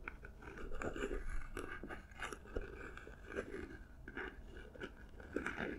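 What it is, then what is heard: Paper-covered cardboard gift box, scratched and tapped. Long nails scratch and tap the textured surface of a small, hollow cardboard gift box covered in silver paper, held close to the microphones. The result is a steady run of dry, crinkly scrapes and soft, short taps. It is quiet and intimate, with a hollow low-mid body.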